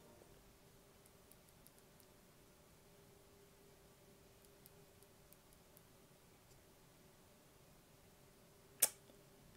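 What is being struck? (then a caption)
Plastic mechanical keyboard switch. A single loose Kailh BOX keyboard switch, with a clear plastic top housing and a cream plastic bottom, hollow with an internal spring and click mechanism, is held between fingertips and pressed and released. After a long stretch of quiet with a faint steady low hum and a few tiny ticks, one sharp, bright click rings out near the end and decays almost instantly.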